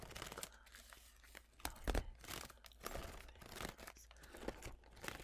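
A blue folding fan with wooden sticks and a pleated paper leaf is fanned open and snapped closed between both hands, while nail-tipped fingers handle the leaf. Dry crinkling and tearing-like rustles of the paper mix with sharp wooden clacks, the loudest near the two-second mark, over a faint low hum.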